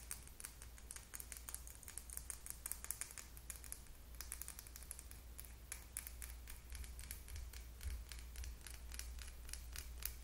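A small, slim, clear plastic Sally Hansen lip gloss tube with purple gloss inside and a silver cap is held in both hands and tapped rapidly with long acrylic nails. The result is a fast, uneven stream of short, sharp, bright clicks over a steady low hum.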